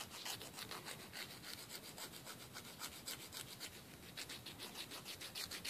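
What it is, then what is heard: Emery board nail file. A thin, flat, solid emery board nail file, held between fingers, is rubbed back and forth across the edge of a fingernail. It makes a quick run of bright, scratchy filing strokes, about three or four a second, with a steady high hiss and little low end.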